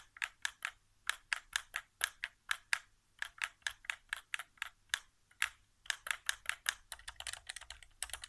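Fingertips tap and press the right-side buttons and thumbstick of a white, hollow plastic PS4 controller resting on carpet. The result is a steady run of quick, dry, bright plastic clicks with almost no ring or low end, picking up into a faster flurry near the end.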